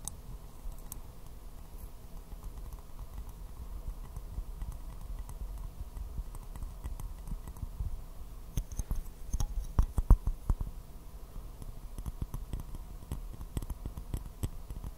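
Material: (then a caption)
Porcelain. A small, hollow, empty white porcelain teacup with a floral print is held upside down and tapped with fingernails, making quiet, light clicking taps over a low, steady hum. The taps are faint and scattered at first, then grow sharper and louder around the middle before settling back into soft, irregular clicks.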